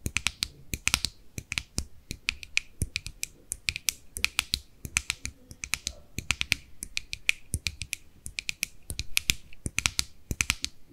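Long nails rapidly tap and scratch on the lid rim and sides of a small white plastic cosmetic jar with a screw lid, held in both hands. Dense, irregular bursts of sharp, bright clicks and light scratches, each dying away almost instantly with a faint low knock beneath, continue steadily throughout.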